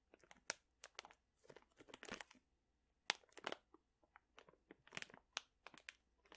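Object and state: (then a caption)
Plastic pouch of dried chili peppers. A sealed plastic pouch full of dried chili peppers is held at the side and crinkled with fingertips. Quiet, bright, dry crinkles and crunches come in short irregular bursts with almost no low end and no ring after each squeeze.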